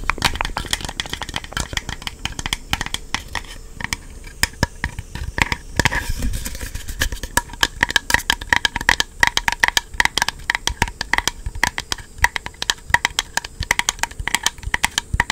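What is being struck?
Hard plastic game-controller charging grip.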